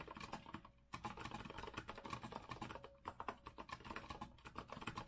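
Fingertips of both hands type continuously on a compact retro Azio mechanical keyboard with a rose-gold metal frame and round plastic keycaps, resting on a wooden desk. The result is a dense stream of short, quiet clicks and clacks centred around 1 kHz, with a brief pause just before the first second before the typing resumes steadily.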